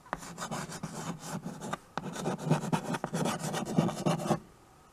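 White chalk scratches across the surface of a small flat chalkboard in a wooden frame, held at the edge, while names are written on it. The result is a run of dry, rasping rubs and short scratchy strokes with a low, woody body, broken by brief pauses and a few sharper taps. The sound stops abruptly near the end, leaving only faint quiet.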